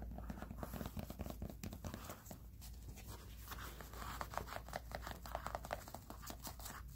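A black and white mesh running sneaker, an athletic shoe with a synthetic mesh upper and foam sole, is scratched and tapped with fingertips and nails. The result is a quick, continuous stream of soft, dry taps and crinkly scratching over a steady low hum, staying quiet throughout.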